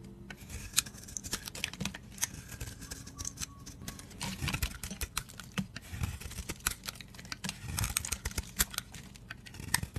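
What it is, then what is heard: Bar soap being shaved. A utility blade shaves the teal layer of a solid, dry, purple-and-blue decorated bar of soap held in the hand, peeling it into curls. Rapid, crisp scraping crackles and sharp bright ticks come in quick bursts over a soft low rumble, each snap dying away almost instantly.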